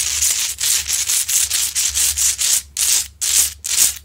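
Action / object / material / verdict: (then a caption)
scrape / large rock-salt lamp scratched with long fingernails / rock salt / none. Long acrylic nails scratch up and down the rough crystalline front of a large, solid rock-salt Himalayan salt lamp. About twelve quick, steady strokes each make a bright, high, hissing rasp with almost no low end. Each stroke stops quickly, with short gaps between them.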